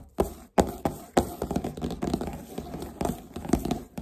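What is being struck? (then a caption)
Hardcover book, paper with cardboard cover. Fingertips and nails quickly tap and scratch the glossy cardboard cover of a large red hardcover book of solid paper lying flat. The result is a fast, irregular run of short, dull taps with a few louder knocks and a soft scratchy texture between them.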